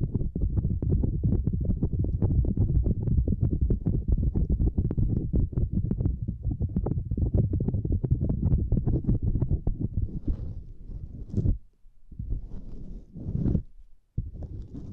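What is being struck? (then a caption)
Silicone lattice mat. Both hands with long nails scratch and tap a small, flat purple silicone lattice mat, making a dense, irregular stream of soft, muffled low thumps and rubbing. After about ten seconds the tapping thins out into brief scratchy swells with a brighter edge, broken by short near-silent gaps.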